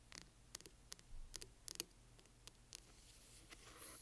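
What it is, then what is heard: Hardcover book tapped and scratched. Fingernails tap and scratch along the spine and corner of a large hardcover book, making about ten quiet, sharp, bright clicks over a faint low hum. The taps end in a soft, hissy scrape.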